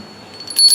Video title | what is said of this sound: घंटी की आवाज़... या गोपियों के घुँघरू? -- Dr. Keshav Anand Das | अब इसकी आवाज इतनी अच्छी नहीं है।